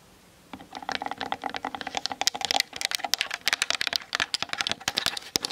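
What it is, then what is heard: Plastic camera body. Long nails tap rapidly on the top and sides of a Canon DSLR's hollow plastic body while it sits on a tripod, picked up by the camera's built-in mic. After about half a second of quiet, a fast, uneven stream of sharp, bright clicks begins. Each tap dies almost instantly, with no low-end thump or ring.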